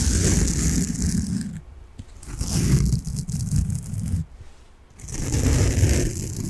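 A large, solid, soft peach-coloured foam sponge is held in the hands and scratched with fingernails. It makes dense, rough, low scratching and crunching bursts with faint bright hiss, broken by two short near-silent pauses before the scratching resumes.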